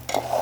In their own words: চালটা ভালো করে ভাজা হয়ে গেছে, চাউলের ঝনঝন শব্দ শুনে বুঝতে পারবেন।